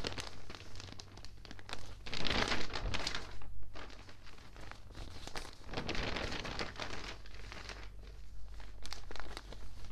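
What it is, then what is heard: Water-damaged newspaper. Crumpling and crinkling come from an open water-damaged newspaper of thin newsprint as a flat hand rubs the pages and a page is turned. Dense rustling swells with bright papery bursts around two to three seconds and again near six seconds. A steady low hum sits under the paper noise throughout.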